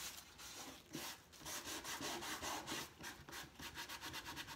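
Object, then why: Painted wooden crate. A cloth held in the hand rubs back and forth across the side boards of a large, hollow, empty painted wooden crate with an X-brace side panel, distressing the paint. Bright, hissing strokes of friction rise and fall in a steady rhythm, quickening toward the end.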